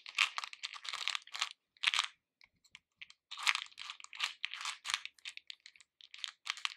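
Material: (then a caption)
Candy shell. Fingers with painted nails rummage and stir a pink plastic bowl full of hard-shelled capsule candies, making dense bursts of small, bright, dry clicks and rattles. The clattering comes in quick clusters with a sparser, quieter stretch in the middle before the stirring picks up again.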